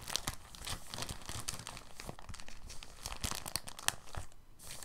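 A clear, thin, soft plastic bag is stretched and flexed between both hands, giving a continuous soft crinkling with brief sharper crackles and bright high-frequency rustle. The texture is dense and steady, without isolated separate hits.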